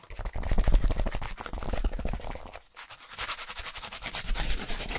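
A white, solid styrofoam packaging insert with a hole is tapped and rubbed quickly with gloved fingertips. Dense, fast taps make low, dull thumps mixed with squeaky, scratchy rubbing. After a brief pause near the midpoint, the rubbing returns with a brighter, hissy scrape.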